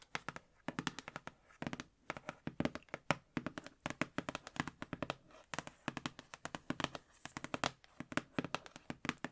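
Fingers tap rapidly and continuously on the outer cardboard packaging of a Winnie the Pooh book collection box. The result is a dense stream of short, dry, hollow taps with almost no ring, at times clustered into quick flurries.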